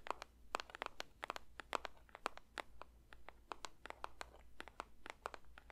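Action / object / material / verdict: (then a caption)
tap / paper box / paper / none. A paper box is lightly tapped with the fingers for ASMR. Quick, dry, irregular taps and soft crinkly clicks with bright edges patter on with no ring, over a faint steady low hum.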